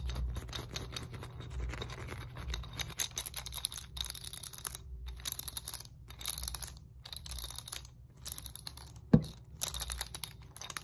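Fingernails scratch and tap across the red segmented rollers and black foam handles of a hard plastic muscle roller stick. The result is a dense, fast stream of dry, crackly scratches and small ticks over a steady low hum, with bright edges. One sharper, louder tap stands out near the end.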